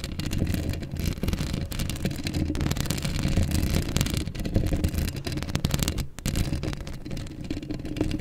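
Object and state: Metal mesh microphone grille being scratched.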